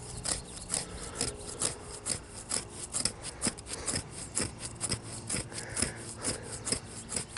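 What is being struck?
Young tree trunk bark.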